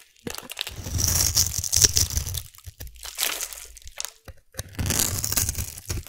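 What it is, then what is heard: Soap cube being carved. A solid black glittery soap cube, about palm-sized, is held in one hand and carved with a metal blade that scrapes and slices curls off its scored surface. Bursts of crisp, bright crunching and crinkling scrape come in three main passes, with a soft low rumble underneath.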